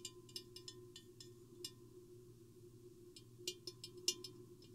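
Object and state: Glass vase.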